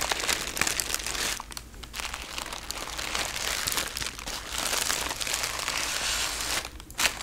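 Folded sheets of thin red tissue paper, wrapped around something, are held and crinkled by both hands with painted fingernails. A steady stream of bright, crisp crinkling and rustling fills the clip, easing briefly near the two-second mark and again just before the end. It finishes with a final sharp crunch.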